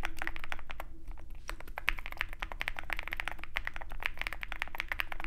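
A compact 65% mechanical keyboard in a dark aluminum case with white and pink plastic keycaps, foam-filled, is typed on continuously with the fingertips of both hands. The result is a rapid, steady stream of short, bright clacks that each die away almost instantly, over a low background hum.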